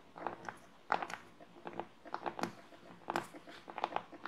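Long nails and fingertips scratch and tap the surface of a flat, solid wooden plaque board with printed lettering lying on a table, with a small microphone clipped to one finger. Quiet, dry clicks and scrapes arrive in irregular bursts, centred in the mid-range with a slight crunchy edge. Each tap dies away almost instantly with no ringing.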